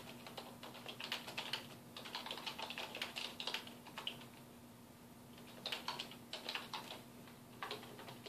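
Fingertips type continuously on a full-size black plastic computer keyboard with a hollow housing, resting on a wooden desk. Bright, clicky keystrokes come in quick bursts, pause in the middle, then resume, over a faint steady low hum.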